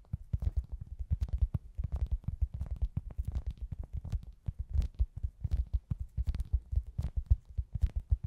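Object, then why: Soft foam pizza-slice squishy toy. Long glittery acrylic nails tap and scratch rapidly on a hand-sized, soft, solid foam pizza-slice squishy toy with a face, held close. The result is a dense, steady stream of quick, muffled low thuds with very short decay, a deep boomy body and faint bright clicky edges.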